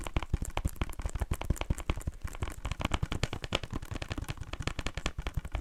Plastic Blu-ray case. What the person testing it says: this case is a little bit broken, I don't think it makes that great tapping sounds cuz there's a little bit that kind of gives it a bit of ring